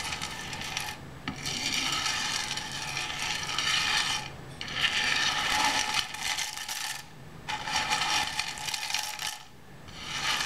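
Fingertips rake through a large loose pile of dry in-shell sunflower seeds on a white board, then pick up a few seeds and drop them back onto the pile. The result is a bright, dense rustling and clicking of shells in repeated sweeps, separated by short pauses.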